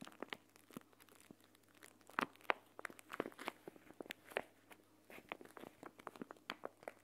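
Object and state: Plastic gel bead eye mask.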